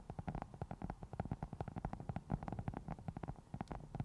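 Long nails of both hands scratch a round black foam cover on a microphone. The result is a rapid, steady stream of soft, muffled scratching bursts, mostly deep and boomy with a low rumbling tone. Each burst stops almost at once.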